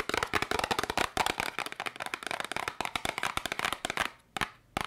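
A small yellow and red cardboard candy box is held in both hands and tapped and scratched with long nails. It makes a rapid, dense run of sharp, dry clicks and scratchy crackles that are bright with little low end. Near the end it pauses briefly before a few final taps.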